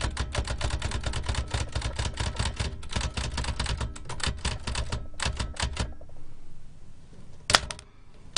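Fingertips with long nails type continuously on a large black metal L.C. Smith & Corona typewriter with round keys, a hollow mechanical body and paper loaded. A rapid, uneven run of sharp key clacks with a low hollow thump lasts about six seconds, then fades to quiet. A single louder, brighter clack sounds near the end.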